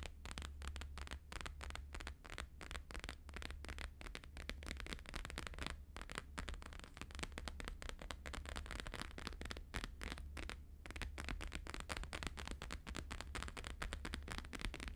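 Fingertips tap quickly on a laminated holographic paper sheet resting on a fur rug, while one hand also scratches it. A dense stream of short, dry crackling taps and scratches sounds over a steady low hum.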